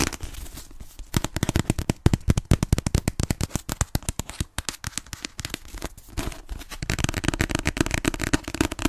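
A solid paper *Fragile Things* paperback is held upright in front of a microphone and tapped fast on its cover with long painted nails. The result is a rapid, dense stream of short, dry taps with a low, papery thump and almost no ring. Around the seventh second the taps turn into a quicker, busier crackling flurry.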